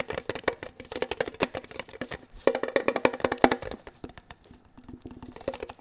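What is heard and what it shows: A hollow, mid-size rectangular red printed metal Kellogg's tin box, held in both hands with one hand gloved, is tapped rapidly with fingertips and nails on its flat sides. The result is a quick, irregular run of dry, clicky taps with a hollow midrange tone and almost no ring. The taps grow louder and denser in the middle, then soften toward the end.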